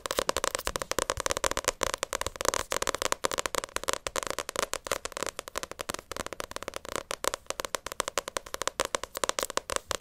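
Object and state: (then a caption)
Paperback manga book. Long acrylic nails tap rapidly on the glossy cover of a paperback Naruto manga volume. The sound is a dense, steady stream of short, sharp clicks with a bright top and a hollow ring in the mid-range. Each tap dies away almost instantly.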